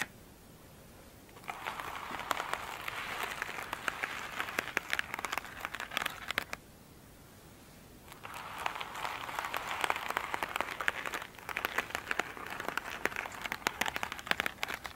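Long pointed nails scratch and tap an elongated oval foam sponge with a glittery surface, soft and solid, lying on a table. Two stretches of dense, crackly, crinkling scratches with many quick clicks, centred around 1.6 kHz and reaching bright highs, are split by a quiet pause near the seven-second mark.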